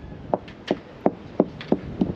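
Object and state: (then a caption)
Sound fiberglass laminate at fillet joint. A fiberglass boat's laminate is knocked at the large fillet joint with six short, sharp knocks that sound dull and solid, with a midrange tone around 370 Hz and almost no ring. The laminate there sounds sound, not hollow.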